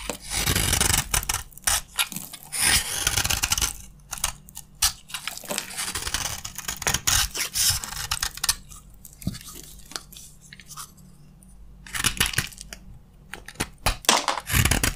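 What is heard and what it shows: A red-handled utility knife scrapes and cuts crunchy flakes from a green, solid bar of dry soap held in the hand. Bright, dry crunching and rasping scrapes come in dense bursts, with a quieter, sparser stretch near the middle before the sharp crackles pick up again at the end.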